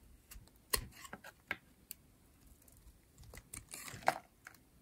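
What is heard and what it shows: A metal utility blade shaves a pink, rectangular, solid dry soap bar with a green edge in short strokes. About ten quick, dry, crisp scraping crunches sound with bright edges, short and quiet against near silence, and the loudest cuts come near the start and end.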